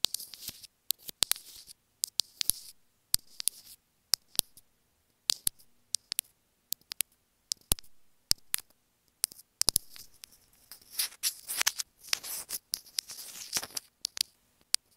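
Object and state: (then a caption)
Plastic earphone inline remote tapped with fingernails. Fingernails tap a small, hollow white plastic earphone inline remote microphone held in the hand. The result is a quick, irregular stream of sharp, bright clicks that die away instantly, mixed with scratchy rustling bursts and short pauses of near silence. The taps bunch into denser, busier clusters toward the end.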